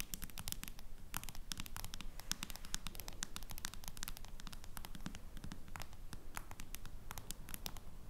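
Long nails tap and scratch on the back of a face-down smartphone in a plastic case. Dense, irregular bright clicks and scratchy ticks run steadily over a low, rumbling bed for the whole clip, each click short and dry.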